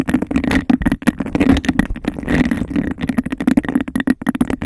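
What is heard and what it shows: A clear, hollow textured glass cup is held over the microphone while long nails rapidly tap its base and scratch its ridged sides. The result is a fast, uneven stream of sharp, dry clicks and rough scrapes with a hollow, boxy resonance around 240 Hz and almost no ring after each hit.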